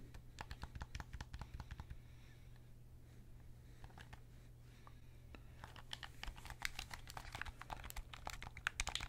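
Fingertips click the triggers and buttons and tap the plastic shell of a hollow white and black plastic PS5 controller held in both hands. Rapid, sharp, dry clicks and taps come in dense bursts, ease into a quieter stretch in the middle, then return louder and busier toward the end. A steady low hum runs underneath throughout.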